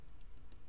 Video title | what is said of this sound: Trench QuaranStream #10: AIM-9 Laser Sidewinder Seeker teardown | i gently tap on it that's glass